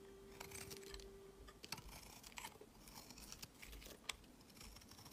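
A metal utility blade scrapes long curled shavings off a solid, rectangular lavender bar soap held in the hand. The result is a quiet, bright, dry scraping crackle with frequent sharp little ticks and crunches. A faint steady tone sits underneath for the first second and a half.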